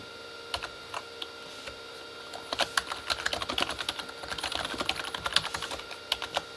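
Both hands type with their fingertips on a full-size, hollow Corsair K35 backlit keyboard, with plastic keycaps on a plastic body. A few scattered taps give way to a quicker run of typing from about two and a half seconds on. The keystrokes are short, bright plastic clicks, with a faint steady hum underneath.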